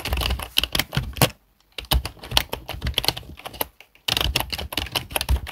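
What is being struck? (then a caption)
Plastic computer keyboard. Fingertips of both hands type on the hollow plastic keys of a full-size black plastic HP desktop keyboard. The result is fast, dry clicky clatter with a bright, hollow tone around 3 kHz and a low thud beneath each press. Two brief silent pauses break the bursts.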